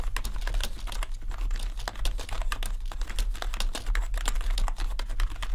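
Fingertips type continuously on a full-size gaming keyboard with a grey metal top plate and black plastic keys. Rapid, dense clicks and clacks with bright, short ticks run throughout, over a steady low hum.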